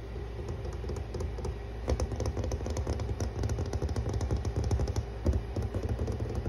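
Fingertips and long red-painted nails on a hand with rings tap and scratch rapidly across a large flat grey wood-grain cabinet door panel with diagonal planks and a black metal handle, likely solid laminated engineered wood. The result is a dense run of short, dry clicking taps and scratchy brushes over a steady low hum.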